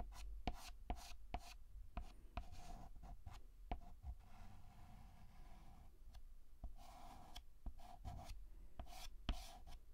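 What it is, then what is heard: Chalk scratching on a chalkboard. White chalk writes on a black chalkboard in horizontal and vertical scratching strokes, giving dry, gritty scrapes broken by short, sharp taps as the chalk meets the board. A low hum and a faint steady tone sit underneath the quiet, close strokes.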